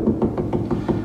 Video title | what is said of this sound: John Works Too Much S2 E17 New Home After Drywall | see how that sounds solid there's a screw right there